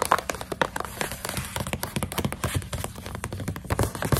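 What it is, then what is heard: Plastic snack pouch of dried coconut strips. A full plastic snack pouch of dried coconut strips is tapped rapidly with long nails, with some crinkling of the plastic. The taps are short and dry, mixing dull low thumps with brighter clicks that stop almost instantly, over a steady rustle of plastic.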